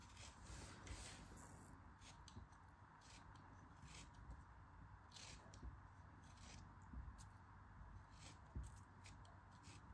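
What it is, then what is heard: Kinetic sand block being carved. A metal craft knife carves and scrapes a solid yellow kinetic sand block. Quiet, steady grainy scraping and crumbling runs throughout, with brief brighter rasps as the blade cuts.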